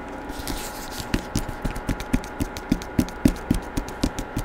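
Fingertips tap quickly on the front cover of a Star Wars hardcover book with a paper dust jacket, held in one hand close to the microphone. Twenty-one short, dry, low thuds come at an uneven pace, each dying away almost instantly.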